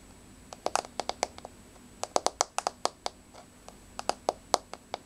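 Long, rounded, blue-grey polished nails on both hands tap a flat, solid wood-look laminate floor with a wood-grain surface. About 20 sharp, dry clicks come in quick, uneven clusters with short pauses between them. Each tap dies away almost instantly, with a bright ticking tone around the mid-range.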